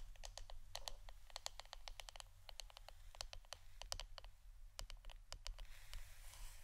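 Fingernails tap rapidly and unevenly on the wooden part of an incense stick holder, giving many sharp, clicky taps that are bright and high and stop almost instantly. A steady low hum runs quietly underneath.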